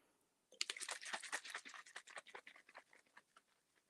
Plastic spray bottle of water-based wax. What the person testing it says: did you notice that it went all quiet that's basically the sign when it's um when it's mixed up perfect